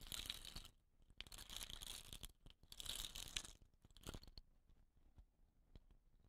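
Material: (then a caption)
Wood. Nails scratch the rattan end and the painted tube of a hollow, dot-painted wooden rain stick. Bursts of bright, rough scratching swell and fade over about the first four seconds, followed by sparse, soft clicks and taps.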